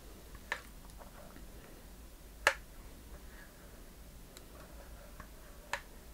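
Long painted fingernails tap and scratch the lid and sides of a small hollow wooden treasure chest box with metal corner fittings and a latch, held in the hand. Four sharp, dry ticks stand out, the middle one loudest, over a faint scratchy rustle and low hum. Each tap dies away almost instantly.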